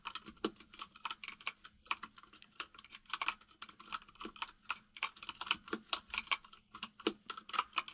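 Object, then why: Mechanical keyboard with plastic keycaps. A white full-size mechanical keyboard with plastic keycaps sits on a desk while both hands type with their fingertips, tapping the keys rapidly. The result is a steady run of crisp, bright clicks and clacks with very short decay and a faint low hum underneath.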